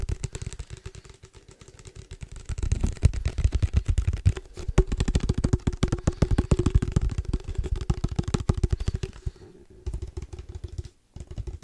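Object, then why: Padel ball case. Fingertips tap rapidly on a padel ball case, producing a dense stream of short, dull, low thumps with a faint steady tone beneath them. The tapping grows louder after a quieter start, continues irregularly, then softens and pauses briefly near the end before resuming.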